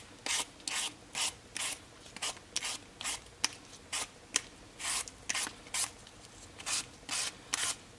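A solid raw potato held in the palm has its skin scraped off in strips with a black vegetable peeler, and the peel strips fall onto a cutting board. About 18 short, bright, raspy scraping strokes come in a loose, uneven rhythm, each one dry with no ring and little low end.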